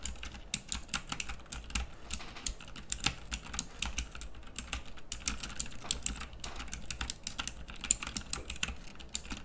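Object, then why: Plastic mechanical keyboard. Fingertips type continuously on a pink plastic mechanical keyboard with round dark keycaps, producing a steady stream of sharp, bright, clicky switch presses with very short decay. A faint low hum sits underneath the quick, irregular rhythm of keystrokes.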